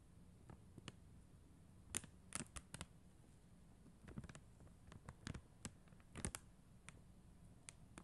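Long acrylic nails tap and click on the gems of a flat sheet of acrylic (plastic) rhinestone stickers on a white backing. Short, sharp, bright clicks and lighter taps come at an irregular, unhurried pace, each dying away almost instantly. Between them lies a quiet, steady low hum.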